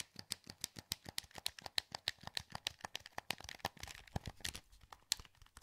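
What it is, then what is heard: Plastic game controller buttons. Fingertips rapidly click the buttons of a hollow, translucent green plastic PS2 wireless controller held in both hands. About 34 short, dry, bright clicks come in a steady run, with almost no ring after each. Toward the end they blur into a denser clatter before spacing out again.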